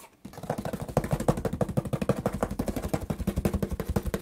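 Fingers scratch and tap along the top edge and side of a hollow corrugated cardboard shipping box whose edge is starting to fray. They produce a fast, uneven run of about 37 dull, low, hollow taps mixed with short scratchy rasps. Each hit dies away almost instantly.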